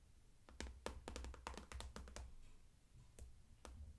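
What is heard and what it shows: Long acrylic nail tips tap irregularly on the flat front panel of a closed, transparent daisy-print PVC cosmetic bag held upright and full of makeup. Each tap is a sharp, quick click with a bright edge that dies away almost at once, over a low, steady rumble.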